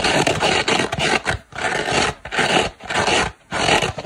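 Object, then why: Foam kitchen sponge with abrasive scouring pad. Long black nails scratch the green scouring side of a dry, hand-sized oval kitchen sponge made of soft turquoise polyurethane foam with a green abrasive fibre layer. The result is a coarse, broadband rasping. It comes in repeated strokes of about one to two per second, with brief quiet gaps between bursts.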